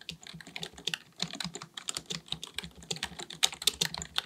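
Both hands type continuously with their fingertips on a black, full-size plastic keyboard on a desk, likely mechanical with a hollow body. About 25 rapid, crisp key taps click out in a steady, uneven rhythm. The clicks are bright and dry, centered near 3.6 kHz with very little low end and almost no ring.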